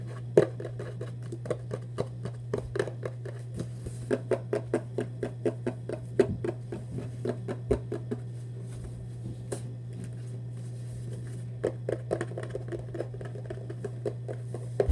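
A hollow red Vans cardboard shoebox, held upright, is tapped with fingertips and nails on its face and edges. The taps are short, dry and quick-decaying, coming in irregular bursts with a sparser stretch in the middle. A steady low hum runs underneath throughout.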